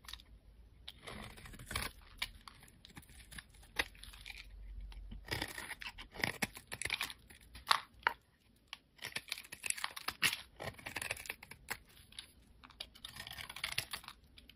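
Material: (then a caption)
Glycerin soap. A solid, amber translucent glycerin soap bar held in the fingers is shaved into flakes with a utility knife blade. Dense, crisp scraping and crackling strokes come in bursts, mostly bright with little low end, and pause briefly near the middle.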